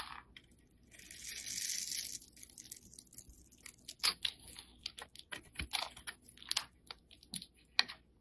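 A solid, rectangular black soap bar held in the fingers is scraped with a snap-off utility blade. A sustained, bright scrape is followed by a quick series of short, crisp scratching and crunching strokes. The sound is quiet and mostly high-pitched, with almost no low end.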